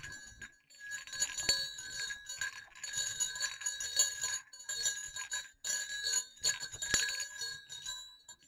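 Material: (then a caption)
Metal. Two small, hollow, silver metal jingle bells on a cord are moved together and clinked against each other. This produces a steady run of bright, high jingling and tinkling with short ringing tails, broken by brief pauses. There is almost no low end.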